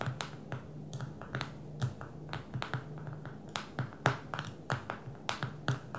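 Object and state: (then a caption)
Fingernails tapping a smartphone glass screen. Long fingernails of both hands tap on the glass screen of a small black smartphone lying flat on a table. About 22 sharp, bright clicks come in an irregular rhythm over a faint low hum. Each click is short and dies away almost at once.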